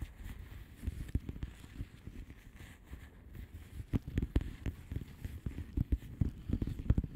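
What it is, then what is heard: Plastic bubble wrap mailer. Long manicured nails of both hands tap and scratch a flat blue plastic bubble wrap mailer envelope with air-filled bubbles. The result is a quick, irregular patter of soft, dull, low-pitched taps over a faint scratchy rustle, growing a little busier and louder toward the end.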